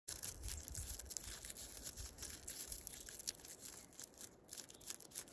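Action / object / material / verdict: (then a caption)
scrape / birch tree trunk bark / bark / none. Fingertips and short nails scratch and rub the white papery bark of a large, solid, living silver birch trunk with dark lichen patches, outdoors in snow, with a jacket sleeve close by. The sound is a steady, bright, dry scratching and rustling with no ring, plus faint low rumbles in the first couple of seconds.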